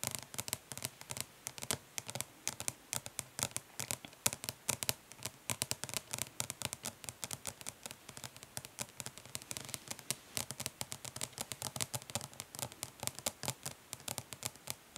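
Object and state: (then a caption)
Plastic eyeshadow palette. Long nails tap and scratch rapidly across the printed lid of a closed, flat, hollow plastic eyeshadow palette. The result is a dense stream of sharp, bright clicks with very short decay and light scratchy texture between them, with little low end.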